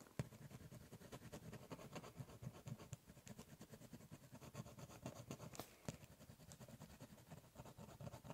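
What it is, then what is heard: Cardboard box scratched with a pen. A ballpoint pen tip scratches and scribbles lines across the top of a large, closed, hollow brown corrugated cardboard shipping box. Quick, quiet, rhythmic scratchy strokes carry a low, hollow resonance from the box, with a few sharper bright ticks along the way.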